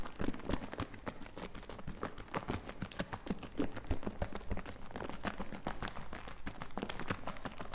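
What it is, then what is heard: Plastic bottle of liquid being shaken. A medium plastic bottle partly filled with green liquid, with foam on its outside, is shaken close to the mic so the liquid sloshes. The result is a rapid, irregular run of dull, low, wet sloshing thuds, about three per second, with short crackly splashes between them.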